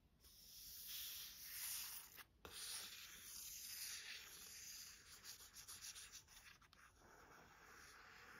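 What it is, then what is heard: Paperback book cover being rubbed and scratched. A long nail and the flat of a hand rub and scratch over the matte printed card front cover of a thick paperback thriller, 'Чёрная тропа', a solid block of paper lying on a desk. The result is a steady, bright, papery scraping hiss with almost no low end, briefly dropping out near the middle before resuming. It then breaks into quicker, choppier strokes toward the end.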